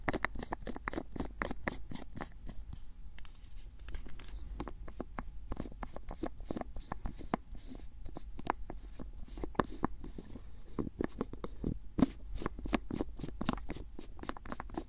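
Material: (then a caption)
Plastic. Fingertips twist and tap the screw lid of a white and grey plastic cylindrical jar held close to the mic. The result is a dense, continuous stream of short, dry clicks and light scratchy ticks with very little ring, weighted toward low frequencies.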